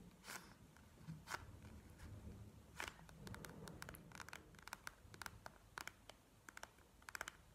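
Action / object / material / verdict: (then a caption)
tap / bead-filled plastic gel eye mask / plastic / none. Long fingernails of both hands tap a bead-filled plastic gel eye mask lying flat on a table. The result is an irregular series of short, dry, bright clicks with no ring, some close together and some spaced out, over a faint low rumble.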